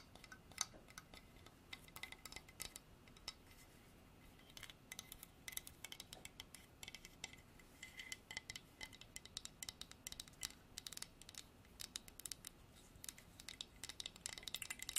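Long nails tap and scratch a solid, dark hardwood carved horse statue, including the underside of its base. Many quick, dry, bright clicks and scratchy ticks sound over a quiet hiss, each dying away almost at once.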